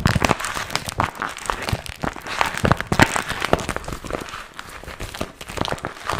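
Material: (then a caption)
Vinyl. Fingertips crinkle and scratch a small, empty, glossy pink vinyl zip pouch with a strap, held in both hands. Dense, irregular crinkling and sharp scratchy clicks come in quick bursts across a broad range, with brief louder crackles around the middle of the clip.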